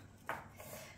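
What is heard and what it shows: Small glass mini pumpkins, four of them in a wooden tray, knock together as the tray is unpacked. A single short, ping-like clink rings out around 0.3 s with a mid-pitched tone that fades quickly, followed by a faint softer knock against low background noise.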